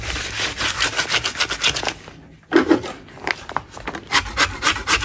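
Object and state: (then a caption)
Natural chalk block being scraped. A gloved hand holds a large solid block of white natural chalk over a tray of chalk crumbs while a black-handled metal scraper scrapes its surface, shaving off crumbs. Quick, bright, rasping strokes repeat in rhythmic bursts, pause briefly near the middle, then resume with a louder stroke. Each scrape ends dry, with no ring.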